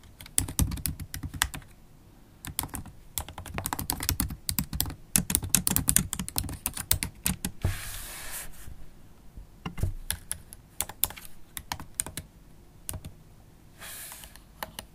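Long holographic acrylic nails type on the black plastic keys of a MacBook Pro laptop keyboard. Quick, dry clicks come in fast bursts with brief pauses, each with a soft low thump and a bright tap. Two short stretches of soft hiss appear, one near the middle and one near the end.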